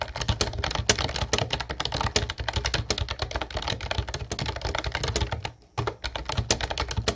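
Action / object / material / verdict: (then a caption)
tap / plastic keyboard with round keycaps / plastic / none. Fingertips of both hands type continuously on a mint-blue plastic Ubotie retro typewriter-style keyboard with round white plastic keycaps. Rapid, sharp, bright clicks and key presses with a low thump beneath each stroke run throughout, dropping to a brief pause near the end before the typing resumes.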